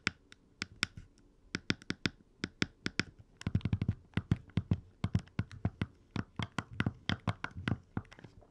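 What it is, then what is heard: Plastic handheld game console tapped. Fingertips and nails tap and knock the D-pad, buttons and screen bezel of a small, hollow, red plastic Game Boy Advance SP handheld console, held open with its screen off. Dozens of short, dry clicks and taps with a low, hollow thump and bright clicky tops die away almost instantly. The taps come in a steady, irregular patter, with a faster flurry in the middle of the clip.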